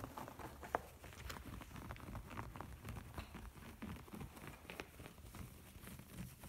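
Fingertips and nails tap and scratch across the waffle-grid fabric of a large, soft, padded pouf covered in beige-brown textured upholstery. The result is a quiet, continuous run of muffled, low, dull pats mixed with dry, crinkly scratching rustles, with one slightly sharper tap early on.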